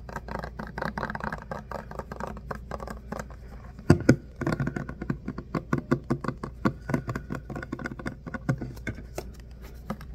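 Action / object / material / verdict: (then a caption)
tap / plastic pump bottle filled with liquid soap / plastic / none. Fingertips and short nails rapidly tap and scratch a hollow plastic Softsoap pump bottle filled with liquid soap. The result is a dense stream of short, dull, low-heavy taps and soft scratchy brushing, with one sharper, louder knock near the middle.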